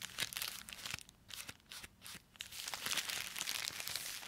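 Gloved fingertips pick up a small black plastic postal mailer with a white address label and something inside, then squeeze and crinkle it. Bright, crisp plastic crinkling comes in bursts with brief quieter gaps, then settles into steady, continuous rustling for the rest of the clip.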